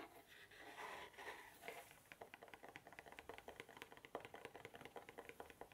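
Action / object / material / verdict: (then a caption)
tap / small cardboard box / cardboard / none. A small, hollow, cube-shaped dark navy cardboard gift box is held in the hand near the ear and scratched and tapped with the fingertips and nails. The first two seconds are a soft, breathy scratching, followed by a quick run of light, dry taps with a hollow mid-range tone. Each tap dies away almost at once, and the whole clip stays quiet.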